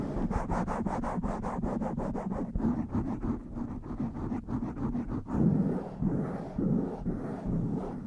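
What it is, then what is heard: Foam microphone windscreen being scratched. Long white-tipped nails and fingertips of both hands rub and scratch all over a soft, porous blue foam windscreen on a black desktop microphone. Quick, rhythmic scratching strokes give way to denser, continuous rubbing, heard close up as a muffled, low-heavy rustle with little high-end brightness.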